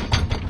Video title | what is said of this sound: DEMO PENGGUNAAN FWD - FALLING WEIGHT DEFLECTOMETER | itu yang benar-benar 100% bunyinya beda